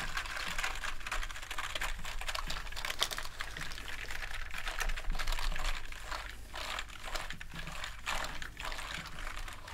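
A soft bristle brush held in a gloved hand sweeps and rubs over the keycaps of a full-size black plastic gaming keyboard resting on a table. The result is a continuous bright, scratchy bristle rasp, swelling and easing with each stroke, mixed with light rattles and ticks from the plastic keys.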